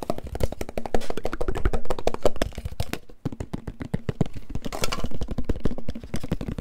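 A medium, hollow, closed-looking cylindrical gold-coloured metal tin is held in the hands and tapped fast with fingertips and nails close to the microphone while being turned and tilted. The result is a dense, irregular stream of quick, dull, low-heavy taps and knocks with very short ring and almost no bright content.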